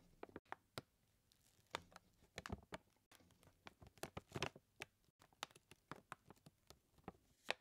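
Fingertips tap and scratch a full white paper flour bag held upright in both hands, making a quiet, irregular series of short, dry taps and scratchy rustles. The paper crinkles slightly between the sharper taps.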